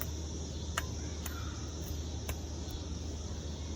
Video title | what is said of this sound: 2020 VFC CAG/Delta Force 416a5 Review [AIRSOFT] | Has a little ring to it.